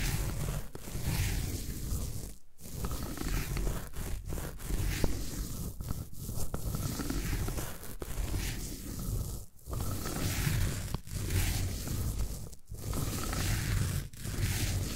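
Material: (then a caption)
Floral foam. A roller tool is rolled over the top surface of a solid green floral foam brick, scraping the foam. The result is a steady, low, rumbling crunch with a rough, gritty texture, broken by brief quiet gaps between passes.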